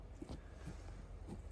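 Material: Nothing is struck.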